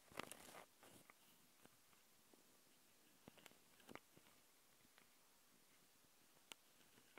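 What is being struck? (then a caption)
Metal mesh microphone grille on a handheld recorder. Long painted nails from both hands scratch directly on the two X/Y microphone capsules of a Tascam handheld recorder, with metal mesh grilles and red rings on a black plastic body. A brief rough burst of scratching opens the clip, followed by sparse, dry, bright clicks and scrapes over a quiet hiss. Each scratch stops instantly with no ring.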